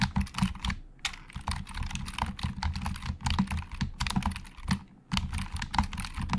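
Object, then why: Plastic computer keyboard. Fingertips of both hands type on a hollow black plastic Logitech computer keyboard in quick bursts, with brief pauses near the one- and five-second marks. Each keystroke gives a short, dry plastic clack with a deep, hollow thump underneath and a bright click on top.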